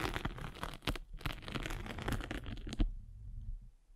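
A hand with long red nails rolls a spiked derma roller across a foam sanding sponge with a gritty gray face and blue foam. It makes a dense, crackling scratch with bright, tearing bursts that peak sharply just before three seconds. The sound then falls to a faint low rumble.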